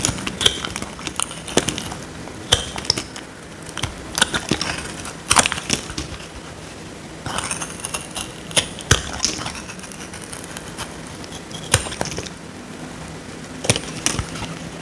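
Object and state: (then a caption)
Dry soap bar scraped. A small metal blade scrapes a solid, dry, square pink soap bar held in the hand, peeling off curls. Crisp, bright scraping and crackling come in short bursts, with sharp clicks that die away almost instantly over a faint steady background.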